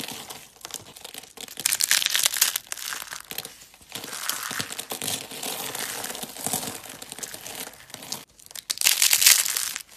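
Green hollow rolled dry soap curls are crushed between fingertips, then the flakes are pressed and rubbed with the palms. Dense, dry, bright crinkling crunches come in bursts, with the loudest surges near the start and again near the end.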